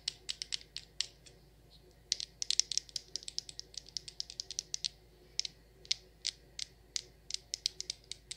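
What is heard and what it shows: Long nails tap the sides of a frosted glass jar candle that has a glass lid and is full of wax. The taps are quick, bright, high-pitched clicks with almost no ring, falling in an irregular rhythm with some dense bursts over a quiet background.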